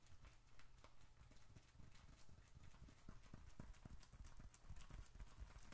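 A small dark red leather bifold wallet is held in one hand, squeezed and then tapped with the fingertips. Soft creaking gives way to a quick run of dull, short taps, heavy in low-end thump with faint high clicks on top.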